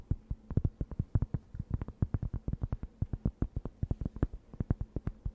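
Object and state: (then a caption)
Cork board scratched with nails. Long nails scratch a thin, round, flat, solid cork board held near the mic, making a quick, steady run of dozens of short, soft strokes. Each stroke is a muffled, low-heavy brush with almost no ring, and a faint low hum sits underneath.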